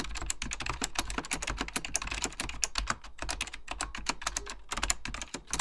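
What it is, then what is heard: Mechanical computer keyboard, plastic keys. Fingertips type continuously on a beige plastic full-size Apple Extended Keyboard II, pressing its hollow plastic keycaps over mechanical switches. The result is a rapid, steady stream of sharp, bright clacks with a soft low thud beneath each keystroke. Every click dies away almost instantly.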